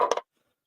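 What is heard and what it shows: A glass-filled polymer knife grip is tapped three times, giving short, bright clicks centered around 500 Hz to 1 kHz that die away almost at once. The grip sounds solid rather than cheap, almost like metal.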